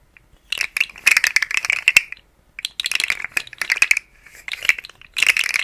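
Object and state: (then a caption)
Plastic articulated slug toy rattling. A rainbow, segmented, hollow plastic articulated slug fidget toy is held in fingers with long nails and wiggled so its segments rattle and click. Dense bursts of bright, dry plastic clicking come in several flurries separated by short silences, centred high around 2.7 kHz, with almost no low end and no ring after each click.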